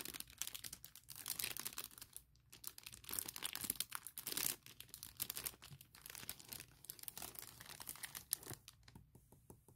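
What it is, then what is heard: Plastic packaging bag. A hand with long nails presses, rubs and crinkles a large clear printed plastic bag holding a MacBook Pro laptop case. The result is a quiet, continuous stream of bright, crackly crinkling with rapid sharp bursts and brief lulls, with almost no low end.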